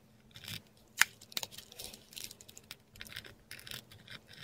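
A metal dip pen nib scratches across a flat sheet of textured Korean paper, writing letters in ink in close-up. Soft, bright scratchy strokes come in short bursts, with a sharper click near the start, over a quiet, steady low hum.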